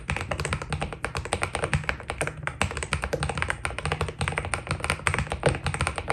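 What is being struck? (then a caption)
Mechanical keyboard with PBT plastic keycaps. A white Keydous NJ80 mechanical keyboard with PBT plastic keycaps is typed on continuously with the fingertips of both hands. It gives a steady, rapid stream of short, overlapping key clacks with a deep low body and a bright, crisp top, and each stroke dies away almost at once.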